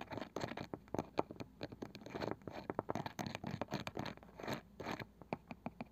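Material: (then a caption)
Wood. Long nails scratch and tap the pale wooden lid and rim of a small, palm-sized round wooden box with a woven side. The result is a busy run of dry, scratchy strokes and quick, clicky taps with almost no ring, sitting mostly in the low-mid range with faint bright edges.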